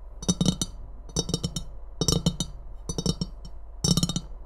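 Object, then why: Ceramic mug. Long painted nails tap and scratch the body and rim of an empty, hollow white and red ceramic Christmas mug. Five quick clusters of sharp, bright clicks each carry a short, dull low knock from the mug. The taps die away almost instantly over a steady low hum.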